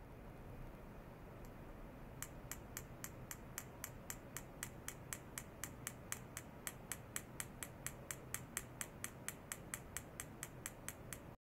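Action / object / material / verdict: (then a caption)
tap / small clear glass bottle tapped with a thin metal rod / glass / none. A thin metal rod held upright taps a small, apparently empty clear glass bottle lying on its side on a white cloth on a lab desk, with sensor wires clipped to it. After a faint early tick, about three dozen short, evenly spaced, bright clicks come at a steady rapid pace. Each dies out almost at once over a low, steady background hum.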